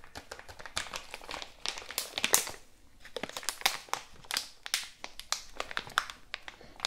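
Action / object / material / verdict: scrape / plastic bag filled with cotton pads / plastic / none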